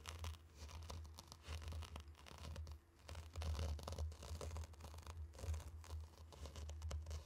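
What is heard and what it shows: Two round wooden sticks stir and press into a tray of loose, fine, dry pink and orange sand, making continuous gritty crunching and swishing of the grains. A steady low hum sits underneath, with brief bright crackles scattered throughout.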